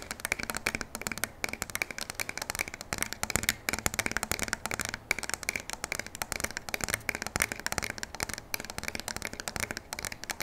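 A full-size black pump shotgun with a polymer stock and a metal barrel, solid and held upright in both hands, is scratched and tapped along its body with long nails. It makes a quiet, steady stream of rapid, dry, bright clicks and scratchy rustles with no ringing after each tap.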